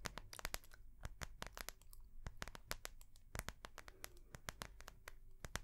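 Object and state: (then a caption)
Soft plastic notebook cover. Long nails tap and scratch the clear soft plastic cover of a small ring-binder notebook held upright in one hand. A rapid, irregular run of sharp, dry clicks with bright crackle rises over soft crinkling and scratching, with a low rumble underneath.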